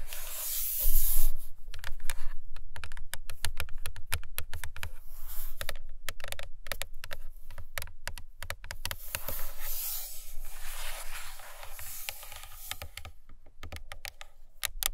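Long fingernails of both hands tap and scratch quickly on the glossy cardboard cover of a large hardcover paper book lying flat on a carpet, near its top edge. The result is a rapid, uneven stream of short, dull taps with a deep low thud beneath and a bright, scratchy hiss over them.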